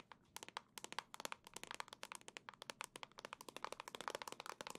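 Long nails tap rapidly on a hollow black plastic Nintendo Switch dock, making 32 quick, sharp clicking taps. The taps are quiet and bright, with a hollow plastic tone near 920 Hz, and each one stops almost instantly with no ring.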